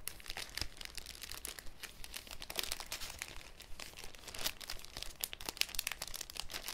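A thin, clear cellophane sheet with folded corners is held up and crinkled by fingers. Dense, bright crackling fills the clip with a steady stream of sharp little snaps and rustles over a faint low rumble.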